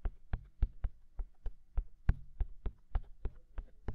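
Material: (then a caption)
Silicone. Fingertips tap on the white silicone ears of a black binaural microphone, giving fourteen soft, muffled thumps at a steady, unhurried pace. Each tap is a short, deep thud that dies away almost instantly.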